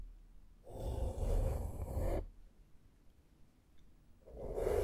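A small flat makeup brush with a metal ferrule brushes across a black foam microphone windscreen in two passes, separated by a near-silent pause. Each pass is a close, muffled, rumbling scratch, heavy in deep low end with a soft mid-range hiss and almost no bright content.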